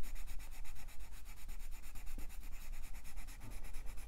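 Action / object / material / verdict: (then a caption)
scrape / wooden colored pencil on a paper page / paper / none. A light green wooden colored pencil shades a paper coloring book page in quick rubbing strokes while the other hand holds the page flat on a fluffy surface. A steady, rhythmic scratchy rasp pulses with each back-and-forth stroke, bright and papery, over a faint low rumble.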